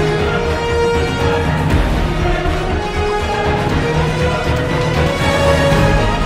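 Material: Nothing is struck.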